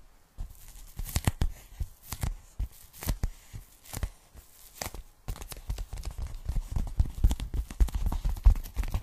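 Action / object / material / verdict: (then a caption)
scrape / polyethylene foam packing bag / polyethylene foam / none. A pink polyethylene foam packing bag is held folded in the hands while long nails scratch and tap across it. Short, dry scratchy bursts and crinkling rasps come in quick clusters over soft, dull low thumps. After a brief pause near the middle, the scratching and tapping resume denser and slightly louder.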